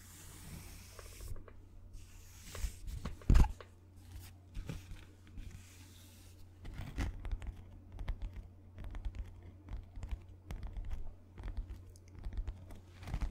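A white paper sheet is held upright and scratched and rubbed with fingertips, making soft, dry rustling and scratchy crinkles in quick irregular bursts. A steady low hum runs underneath, and one louder crackle stands out near the start.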